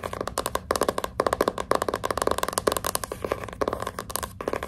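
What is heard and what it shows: Long pink nail tips scratch and tap the glossy cardboard front cover of a hardcover book lying flat. The result is a rapid, steady series of short, dry, crisp scrapes with a mid-pitched papery tone and almost no ring after each stroke.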